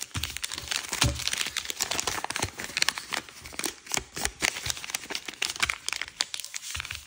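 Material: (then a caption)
Paper. A thin red-yellow kaleidoscope-pattern origami paper sheet on a wooden table is creased with fingertips and nails, rubbing along the folds. A steady stream of bright, dry crinkling and crackling bursts follows, each sharp and quickly gone.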